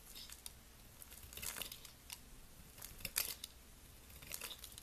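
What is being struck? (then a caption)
Bar of soap. A box cutter blade carves a solid white oval soap bar held in a hand with long nails, shaving off flakes. Quiet, bright, crisp scraping and cutting strokes come in short bursts, with the sharpest shave about three seconds in over a faint low background hum.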